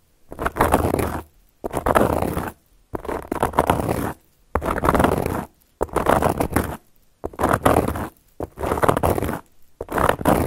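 Long gold metal claw nail caps scratch across a round, flat, solid cork board in eight separate strokes. Each stroke is a dry, rasping scrape, fullest in the mids, separated by short silences.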